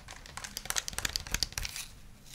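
A white handheld plastic game controller with a hollow shell is held in both hands and tapped with fingernails and fingertips. About a dozen quick, dry, crinkly clicks sound, bright and high-pitched. Each tap dies away almost instantly.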